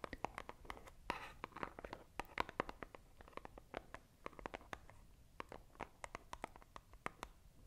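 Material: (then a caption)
Cardboard. A small, hollow, white printed cardboard product box, held in both hands close to the microphone, is scratched and tapped with long acrylic nails. Quick, dry clicks and taps sound at an irregular pace, with short bursts of rough scratching between them. Each tap is sharp and fades almost at once, and the sound is quiet overall.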